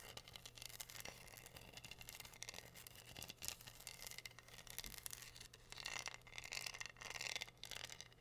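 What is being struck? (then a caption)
Wooden heart board covered in glued rhinestones, scratched with fingernails. Long nails scratch across pink rhinestones glued to a flat, solid heart-shaped wooden board. The sound is a dense, bright, gritty scraping and clicking, mostly high-pitched, over a faint steady low hum. It grows louder and more hissing toward the end.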